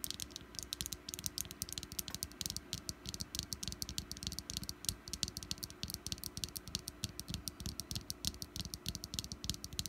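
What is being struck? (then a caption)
Small wax pumpkin candle. Long black nails tap rapidly around the green stem top and sides of a small, solid orange wax pumpkin candle. The result is a continuous stream of quiet, dry, bright clicks with a soft low hum underneath.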